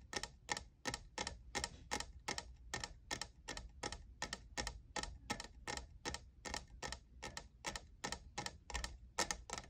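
Fingernails tap rapidly on the sides of a hollow, lavender, diamond-textured plastic cold cup. The result is a steady stream of sharp, dry clicks with a bright, papery edge, each dying away almost instantly. A faint low rumble sits underneath throughout.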